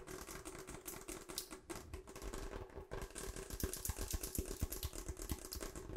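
Long acrylic nails tap and scratch fast across a hollow, ribbed pink and purple rubber hot water bottle. The sound is a rapid, uneven run of dull, low thuds mixed with bright scratchy rasps, with a steady faint hum underneath.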